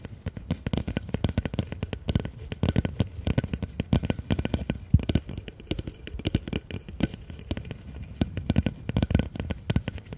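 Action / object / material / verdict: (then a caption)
tap / upturned empty plastic bowl / plastic / none. Fast fingertip and nail tapping on the outer wall of a large, empty, hollow blue plastic bowl held upside down. It makes a steady, rapid stream of short, dull, bass-heavy thuds with faint clicks, each dying away almost instantly.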